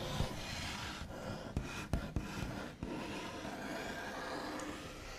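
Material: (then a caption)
Wood. The backs of fingernails slowly rub and trace across the large, solid, smooth top of a white-finished wooden table, making a steady, soft scratchy rasp with a low rumble underneath. Four brief, sharper taps stand out from the continuous rubbing.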